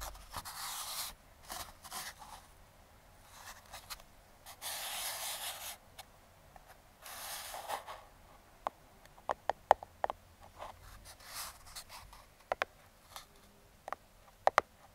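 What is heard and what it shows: Metal claw fingertip picks trace and tap the top of a small, closed Aukey brown kraft cardboard product box held in the hand. Soft, breathy scraping swishes come first, followed by sharp, dry clicking taps that stop instantly.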